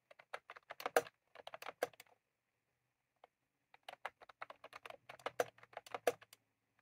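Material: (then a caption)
Plastic. Fingertips of both hands type on a white/cream plastic retro computer keyboard with round typewriter-style keycaps, resting on a desk. Quick, light, bright clacks come in two bursts, separated by a pause broken by a single tap. The overall level is soft.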